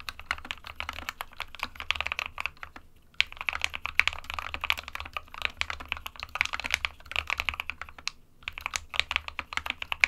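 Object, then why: Plastic mechanical keyboard. Fingertips of both hands type continuously on an SK61, a small 60% mechanical keyboard with a plastic case and plastic keycaps, hollow with switches inside. Rapid, bright, clacky keystrokes with very short decay rattle along, centered around 2.4 kHz, with brief pauses near 3 and 8 seconds.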